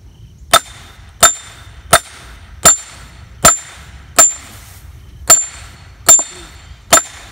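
A sledgehammer swung overhead strikes the steel head of a splitting axe or wedge stuck in the top of a large, solid wood firewood round resting on a stump outdoors. Nine sharp, bright metal-on-metal clanks come at a steady, unhurried pace, each dying away quickly with a short high ring heard through the log.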